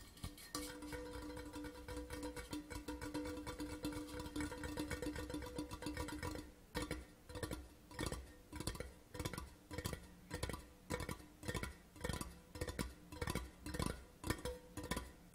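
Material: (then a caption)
Metal. A hollow grey Port Charlotte metal whisky tube lies on its side on a cloth while both hands tap quickly on its near side with fingertips and nails. For about the first six seconds the taps run together into a dense, continuous patter with a steady ringing tone around 300 Hz and 500 Hz. Then they separate into distinct, short, bright clicks with brief pauses between them.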